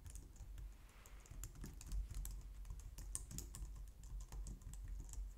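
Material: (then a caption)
Plastic. Both hands type on a white plastic low-profile wireless keyboard with fingertips and long painted nails. A steady, quiet run of rapid, short key taps is heard, each a soft low thump with a crisp bright tick on top, dying away almost instantly.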